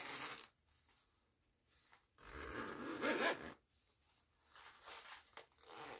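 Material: Nylon.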